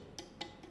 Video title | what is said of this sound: Edisi 2 Episode dalam 1 Ini Perlu Ditonton Sampai Habis. | Kalau diketok-ketok aja sudah suaranya beda. Beda. Ya, loh. Sember. Ya itu. Itu pada kayak misalnya sesuatu yang retak